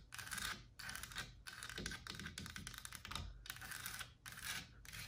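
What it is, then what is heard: Solid carved wooden panel. Long black nails and fingertips tap and scratch the carved leaves and flat frame edge of a large, solid, white-painted carved wooden wall panel. Quick, dry, bright clicks and scratchy rustles come in dense bursts separated by brief pauses, with a faint low rumble underneath and almost no ring after each tap.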